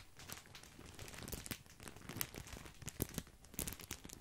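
A large, full, white printed plastic bag of grissini breadsticks is crinkled with the fingertips. The result is a quiet, continuous crackling and rustling, with many short, sharp crinkles that reach bright highs and land with a soft low thump.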